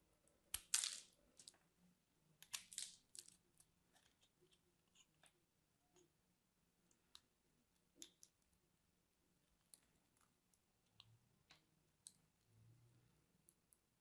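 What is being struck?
Soap bar.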